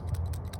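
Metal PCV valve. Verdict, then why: Working. An old metal PCV valve, removed from a 2005 GX470, is shaken by hand, giving a brief, light clicking rattle as its internal part moves. The moving part shows the valve still works, though it is being replaced anyway as routine maintenance.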